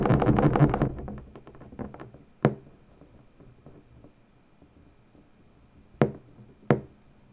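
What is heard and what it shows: Long natural nail tips press into and tap the taut surface of an inflated, hollow, air-filled purple latex balloon. A dense flurry of quick, muffled taps fades into softer scattered ones, then three sharp, bright taps stand out clearly, each dying away almost at once.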